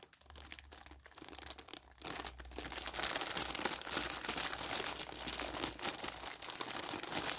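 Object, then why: Plastic film bag of dish sponges. Bare fingers grip and crumple a soft, flexible printed plastic film bag holding a pack of colored dish sponges, hollow and partly full, then tear it open. Quiet, sparse crinkles at first give way after about two seconds to a dense, bright stream of crackling and tearing. A steady low hum runs underneath throughout.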